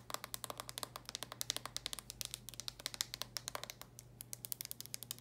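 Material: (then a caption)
Plastic. Long nails rapidly tap and scratch on the glossy red plastic lid of a handheld game console, producing dense, bright clicks that die away almost instantly. A faint steady low hum runs underneath throughout.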